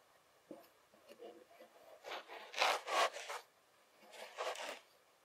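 The edge of a white plastic fork is drawn through a pile of beige packed kinetic sand, slicing and scraping it. Faint crumbly ticks at the start give way to louder, gritty, bright rasping scrapes in the middle, then a final, softer drag before it falls quiet.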